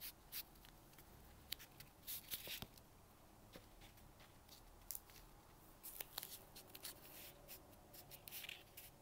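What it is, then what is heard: Polystyrene foam packing peanut. A single small white cylindrical expanded-polystyrene packing peanut, held in the fingertips, is rubbed and brushed with a dark bristle brush while a tub of other peanuts sits untouched beside it. Quiet, bright, scratchy brushing strokes come in irregular bursts, with short dry squeaks and crackles that stop instantly with no ring.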